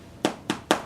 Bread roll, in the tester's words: can hear that lovely hollow sound on the bottom of it